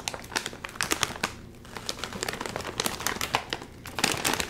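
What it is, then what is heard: Crinkling plastic foil chip bag. A red and white sealed metallized plastic chip bag, full of chips, is gripped at the top and crinkled and twisted by fingers while someone tries to open it. Dense bursts of bright, sharp crackling and crinkling come in quick clusters with short pauses, with a brief quieter stretch around the middle.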